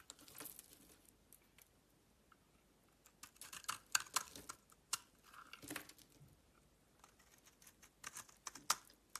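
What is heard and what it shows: A metal utility knife blade shaves thin layers off a solid soap bar whose white interior is mostly exposed. Quiet, bright, crisp scraping and crackling ticks come in short, irregular bursts. They are sparse at first and cluster more densely later, with almost no low end and no ring after each cut.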